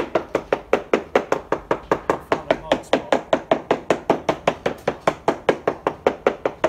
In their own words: I'm working my way down the boat, just tapping and finding the bulkheads, looking for delamination.